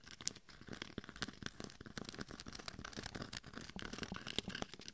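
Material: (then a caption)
Glitter. Long painted fingernails tap and scratch across both sides of the face and head of a life-size mannequin head, a hard, hollow shell coated in coarse gold and red glitter with a microphone inside. A dense stream of quick, dry clicks and gritty, crinkling scrapes fills the clip, bright and crackly with little low end. Each tap dies away almost instantly.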